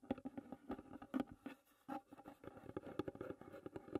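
Long red nails tap quickly across the lid of a closed, hollow wooden tea box, making dry, short knocks with a hollow low-mid tone. The fingers then grip the edge of the lid. The taps vary in strength, with a brief quiet gap near the middle.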